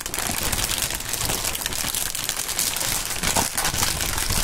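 A clear polyethylene air-pillow packaging strip, hollow and air-filled, is crinkled, squeezed and waved by gloved hands with bare fingertips. A steady, dense crinkling with sharp, bright crackles runs throughout, with a few louder rustling bursts near the end.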